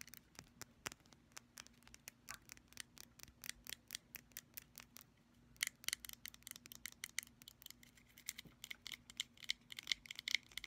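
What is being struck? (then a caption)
Small glass bottle tapped with fingernails. Long pastel fingernails tap and scratch a small, apparently full, mint-green glass nail polish bottle with a black cap and a label. Dozens of quick, bright, dry clicks and ticks come in a fast run, pause briefly around the middle, then resume with sharper, glassy scratches mixed with more taps.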